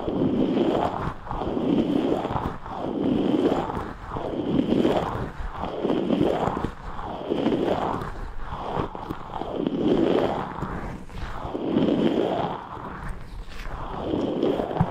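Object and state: Rubber stress ball filled with gel beads.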